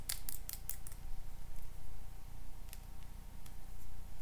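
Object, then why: Plastic lip gloss tube. A small pink plastic lip gloss tube, held between the fingers, is tapped and scratched with paper clip nails. A quick run of sharp, dry clicks comes first, followed by sparser light ticks and scratching over a steady low hum.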